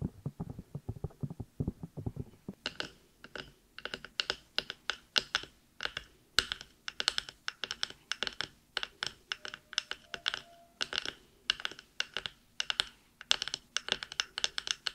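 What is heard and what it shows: Long nails scratch and tap the soft rubber/silicone ears and the top of a black binaural microphone, producing a dense run of about 62 short, dry taps with almost no ring. The first few seconds sound dull and bassy, then the taps turn crisp and bright, mixed with scratchy rustles between them.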